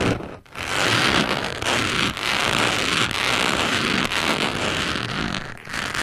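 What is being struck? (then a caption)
Round cork coaster. A small white carving tool, held in a hand with long yellow-and-black nails, scratches and traces across the rough surface of a flat, solid round cork coaster lying on a dark surface. A steady, dry, bright rasping scratch runs almost the whole time, broken by a few brief pauses where the tool lifts or changes direction.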